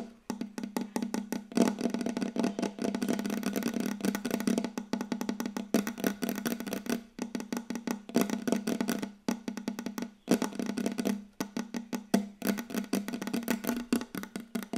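Long yellow acrylic nail tips on both hands tap rapidly on a large, solid, glossy wooden tabletop close to the microphone. The result is a dense run of short, dry clicks and knocks with a woody resonance around 200 Hz. The taps come in fast bursts separated by brief pauses.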